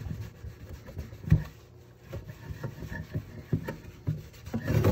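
Hands scrub the cream inner enamel of an empty red enameled cast iron pot with a sponge while it sits tilted in the sink. The sound is a series of dull, low rubbing and scraping strokes, about seven louder ones standing out, with no ringing from the pot.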